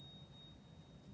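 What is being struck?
Nothing is struck.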